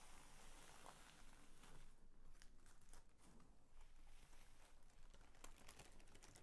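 A mint green sheet of thin, crinkly tissue paper is spread out on a bedspread and then folded in half by hand. Its soft, continuous crinkling and rustling comes with faint scattered crackles, and a low hum sits underneath.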